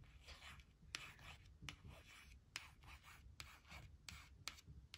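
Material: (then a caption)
Laminated card. Long acrylic nail tips trace and scratch the letters on a thin, flat laminated cardstock word strip reading "were not / weren't," resting on a woven blanket. Soft, bright scratchy strokes are broken up by several sharp, brief clicks of the nails against the laminate, with a low rumble underneath.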